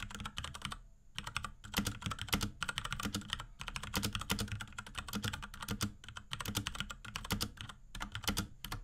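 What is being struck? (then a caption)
Plastic mechanical keyboard. A small pink Akko X Ducky 3084 mechanical keyboard with Cherry MX Brown switches, plastic keycaps and a plastic case, is typed on rapidly with the fingertips of both hands. Dense bursts of clacky keystrokes, each with a low thocky body and a bright, short tick, are broken by brief pauses.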